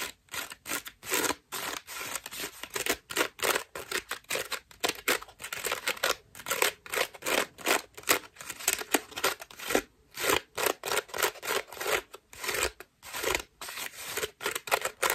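Long nails scratch a white ruffled foam bath loofah with a cord loop, held in both hands. The result is rapid, repeated bursts of bright, dry, rasping scratches with almost no low end, each stroke cutting off sharply with short gaps between.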